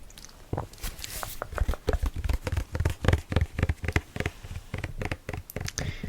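A large 500 ml plastic bottle of Lynx Black shower gel is handled and tapped with quick, uneven taps. The taps give short, dull, low-pitched knocks with a hollow plastic thump, with faint crinkling between them.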